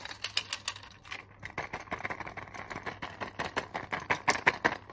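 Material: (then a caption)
Plastic. A flat blister strip of white tablets in clear plastic bubbles on a foil backing is tapped and scratched with long nails. Fast, irregular, bright clicks and crinkly plastic taps run throughout, with a brief scratchy rustle between them. Each tap is short and dry with almost no ring.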